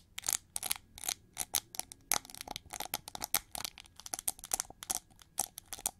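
Long nails scratch and tap along the ridged wing feathers of a hand-sized, hollow, shiny gold chrome-plated plastic hair brush sculpted like an eagle. Quick, bright, dry scratches and clicks come in an irregular, rapid stream of short bursts. The sound has almost no low end and no ring after each touch.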